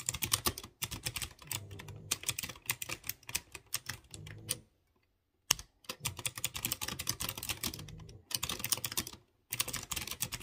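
A light blue plastic mechanical keyboard with typewriter-style round chrome-rimmed keycaps on clear-housed blue switches is typed on rapidly by fingertips with short dark-painted nails. Bright, sharp clicky taps come in fast bursts, with a silent pause near the middle and a short break before the final burst.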